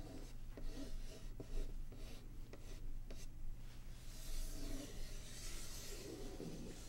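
Long polished nails tap and scratch across the printed lid of a closed, medium-sized, hollow Patchwork board game box made of printed cardboard, lying flat. Soft, dry rasping and rubbing strokes mix with a few light, quick taps over a steady low hum.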